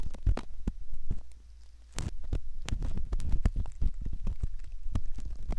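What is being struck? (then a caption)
Silicone ear model scraped with a metal ear pick. A curved metal ear pick scratches and rubs inside the canal opening of a soft silicone ear model. Close, muffled scraping and crackling come through as deep, low rumbling thumps with brief bright clicks, dipping quieter for a moment before the rubbing resumes.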